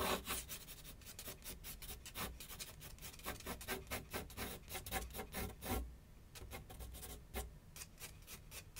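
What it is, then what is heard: Pencil scratching on paper over a board. A graphite pencil makes rapid back-and-forth scratching strokes on a large flat sheet of white paper resting on a board on an easel. The result is a steady series of dry, bright rasping bursts, with a brief lull of quieter strokes in the second half before the scratching picks up again.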